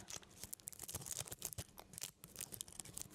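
A whole medium yellow onion with papery dry skin, solid, is held in both hands close to the microphone while fingertips and nails scratch and rub the skin. It makes a quiet, bright, crackly scratching of many quick, dry bursts that stop short with no ring.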